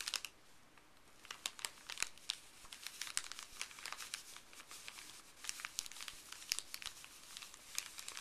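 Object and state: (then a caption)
Paper bag crinkling. Fuzzy gloved fingers rub, crinkle and lift a thin, empty, printed white paper pharmacy bag. Many quick, crisp, bright crackles come in irregular bursts over a faint hiss, with almost no low end and each snap dying away instantly.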